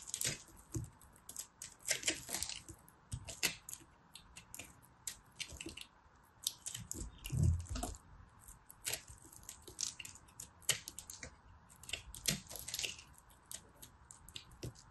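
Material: Soap.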